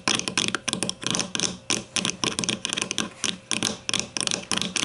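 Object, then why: Plastic deodorant stick casing. Long nails on both hands tap rapidly on the top side of a grey plastic deodorant stick's casing, which lies with its bottom end toward the camera. The taps are bright, dry plastic clicks that come in quick, uneven clusters with very little low end. Each click dies away within a fraction of a second.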